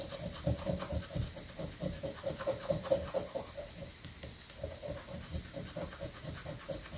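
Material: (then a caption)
Paper. A coin scratches the latex coating of a thin paper scratch-off lottery ticket resting on a granite counter, in short, quick strokes. The result is a steady, uneven run of gritty rasping scrapes with a faint tone near 540 Hz and bright, hissy grit on top.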